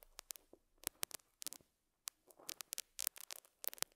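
A metal dental scaler hook scratches and picks at a small square beige felt pad resting on a lapel mic. It produces a quiet, irregular series of crisp, bright scratchy ticks and short scrapes with almost no low end, pausing briefly in silence midway before the picking resumes. Each stroke stops dead with no ring.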